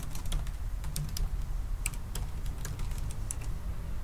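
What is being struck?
Laptop keyboard, plastic keys in an aluminium body.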